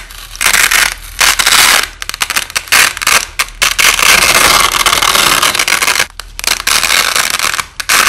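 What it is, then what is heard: Nylon hook-and-loop tape being ripped apart. A wide white nylon hook-and-loop (Velcro) strip under red light is repeatedly peeled apart and pressed back together by fingers, with the audio slowed down. Loud, bright, crackling rips come in long bursts separated by brief quiet gaps. The sound is mostly high-pitched, with almost no low end.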